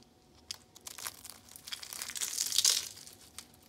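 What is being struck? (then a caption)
Thin dried soap sheets. Thin, speckled, brittle dried soap sheets are snapped and crumbled between the fingers. Scattered sharp, bright snaps build into a dense, crisp crunching and crinkling that peaks just past the middle, then thins out to a few faint crackles. The sound is almost entirely high and airy, with no low body.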